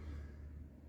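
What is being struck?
Nothing is struck.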